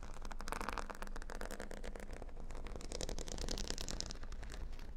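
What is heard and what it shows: Fingernails tap and then scratch across a square cork board covered with a grid of plastic faux-pearl beads. The result is a dense, steady stream of quick clicks and crackly scraping that carries bright, sharp ticks over a heavy low rumble.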